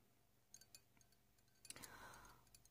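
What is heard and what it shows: A small, dark, hollow embossed glass tumbler or votive holder, apparently empty and held in the hand, is tapped with long painted nails. The result is a quiet run of light, short, high clicks with very little ring. Near the middle there is a brief rushing swell, and one sharper tap comes at the end.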